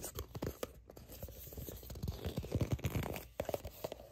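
Long nails scratch and grip the sides of a soft plastic sunscreen squeeze tube that appears to be filled. The result is a close, dense run of quick scratchy crinkles and soft squeezing grips with short dry ticks, mostly low and muffled with little brightness.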